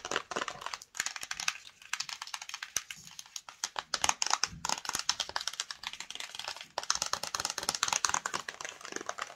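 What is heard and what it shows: Long nails tap fast on the face and side of a flat, hollow black and yellow cardboard screen protector box. The result is a dense stream of quick, dry clicks that are bright and papery, each dying away almost instantly, like rapid typing.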